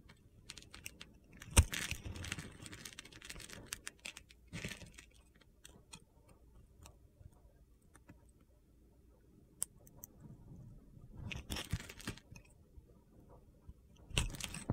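A utility-knife blade carves crunchy flakes from a hand-sized, solid mint-green soap bar with a red glitter coating, held in the palm. Soft, gritty scraping and crackling ticks sound over a low, quiet bed, with brighter crunchy bursts rising now and then, including a sharp snap near the start and louder carving toward the end.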